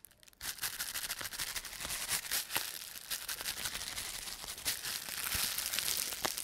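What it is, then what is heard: Plastic bubble wrap. A large crumpled sheet of clear plastic bubble wrap is squeezed in a fist, the hand crushing and crumpling it and popping the air-filled bubbles. After a brief quiet start, a steady bright crinkling rustle runs throughout, punctuated by many sharp, short snapping pops.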